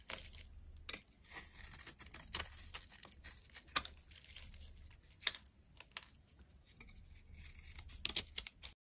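A metal utility knife blade scrapes and carves flakes from the surface of a solid, rectangular, mauve bar of dry soap held in the hand. The sound is a steady run of dry, crisp scraping and crumbly crackling, bright and high with very little low end. A few sharper, louder cuts stand out along the way.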